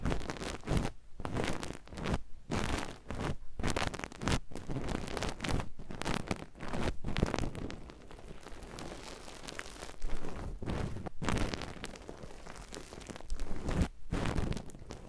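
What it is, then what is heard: Nylon mesh loofah. A hand-sized, airy grey ruffled nylon mesh bath loofah is squeezed and scrunched between both hands with the fingertips. It gives continuous crunchy, crinkling mesh rustling in dense bursts with brief quiet gaps, softer in the middle and building again toward the end.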